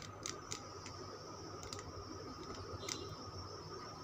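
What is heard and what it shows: Fingernails scratch and tap the scraped surface of a solid green Lux soap bar held in the palm. Short, bright clicky taps stand out over a soft, continuous scratching against a steady background hum.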